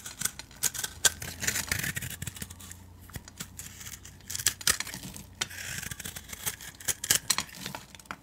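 A metal utility-knife blade scrapes and carves flakes and scored strips from a solid, palm-sized blue bar of soap held in the hand. The sound is a run of bright, crisp scraping strokes and sharp clicks, each ending almost at once, with quieter soft scraping between them.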